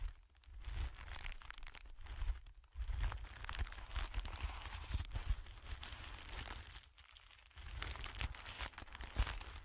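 A thin sheet of clear plastic film lying flat on a dark surface is pressed, pinched and crinkled with the fingertips of both hands. It makes a dense, continuous crackling and crinkling over a steady low rumble, with brief quieter gaps.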